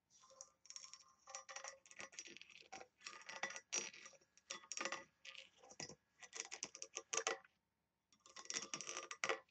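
Long nails rapidly tap and scratch the lid of a small, hollow, oval embossed brass box with engraved detail and a ring handle. The result is a dense stream of quick, bright metallic clicks and scrapes with almost no low end and very short ring. The bursts come in clusters, with a brief silence near the end before a final flurry.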